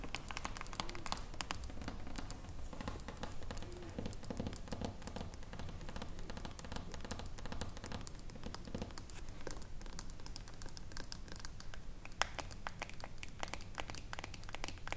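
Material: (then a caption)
Glass, metal. Long acrylic nails tap rapidly on the silver metal screw lid and glass sides of a small, full glass jar of pale green body lotion. The sound is a quiet, steady stream of sharp, bright clicks with almost no ring, over a soft low rumble.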